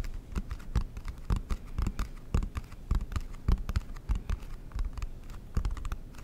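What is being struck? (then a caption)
Cardboard game box lid. Fingertips and nails tap and scratch the lid of a large, flat, rectangular, dark blue cardboard Monopoly board game box with a silver logo, held up hollow in front of the mic. Quick, irregular, dull hollow taps with light scratching run throughout, each tap low and thumpy and dying away almost instantly.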